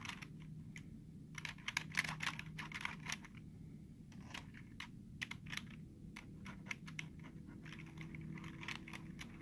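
Short fingertips tap and press the hollow keys of a black plastic computer keyboard, making quick, dry clicks in irregular bursts. Some clicks are sharper than others, with brief pauses between runs, over a faint steady low hum.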